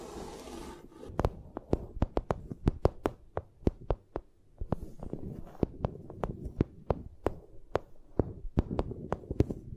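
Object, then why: Vinyl sheet. A vinyl sheet is tapped repeatedly, producing sharp, dry clicks that spread from a low thump into bright highs and die away almost instantly. The taps come in an uneven rhythm over a soft low rumble, with a brief hiss at the start.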